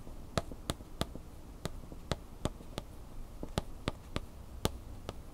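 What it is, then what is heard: Plastic blister pack with cardboard insert. A plastic blister pack with a cardboard insert is held upright while its printed front and plastic are tapped with a single long fingernail. A series of sharp, bright, clicky taps sounds at an irregular pace, each dying away almost instantly over a faint low background rumble.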